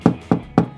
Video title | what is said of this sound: 30 Easy DIY Builds & Tips | knock on the wall is a great way of telling whether you've got solid timber behind